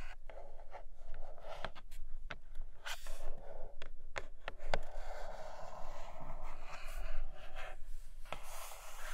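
Long acrylic nails scratch and tap across the plastic window and surface of a flat, roughly tablet-sized grey cardboard retail box holding a red case. The clip carries a steady dry scratching rasp broken by about ten short, sharp taps with almost no ring.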